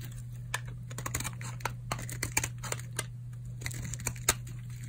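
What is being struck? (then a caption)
Bar of soap shaved with a blade. A solid purple oval bar of dry soap, held in the palm, is shaved with a utility knife blade into curly flakes. Short, crisp scraping crackles pop out irregularly over a steady low hum, each one dry and bright with almost no ring.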